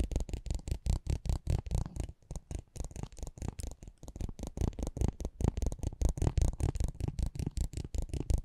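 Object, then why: Small cardboard trading card scraped with a spiked metal pinwheel. A metal spiked pinwheel is rolled and scratched across the face of a small, thin cardboard racing trading card held in the hand. It makes a rapid, uneven stream of dry, low, clicking scratches with a brief lull near the two-second mark. Each tick dies away almost instantly.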